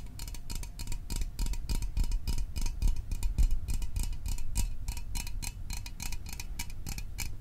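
Fingernails and fingertips tap the body of a small, hollow Fanta orange aluminium drink can held above the microphone. The taps come in a fast, uneven stream of bright clicky ticks over a low, dull thump. Each tap dies away almost instantly with no ring.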